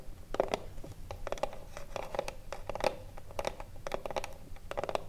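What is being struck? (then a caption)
Small wooden cigarillo box. Long blue nails tap and scratch along the top edge of a small hollow wooden cigarillo box. Quick clusters of dry, short clicks carry a hollow knock near 535 Hz, with soft scratchy rustling between the taps.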